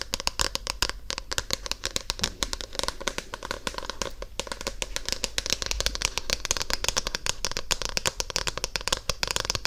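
Long painted nails rapidly tap and scratch the glossy card cover of a solid paperback book held close to the microphone. The result is a dense stream of crisp, bright clicks and scraping textures with a faint low hum underneath.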